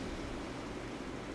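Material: Nothing is struck.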